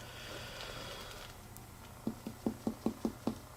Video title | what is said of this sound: HOW WE DO ABDOMINAL ASSESSMENT? | it was still tympanic. That is because he does not have a splenic enlargement.